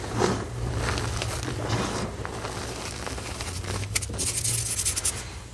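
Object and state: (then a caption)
Loose gym chalk powder. Bare fingertips with short nails press, pinch and rub through a flat bed of fine, pale green loose gym chalk powder. Soft, crunchy scraping and rustling textures come through with bright crackly bursts, over a steady low hum. The grainy crunches grow crisper and brighter toward the end before easing off.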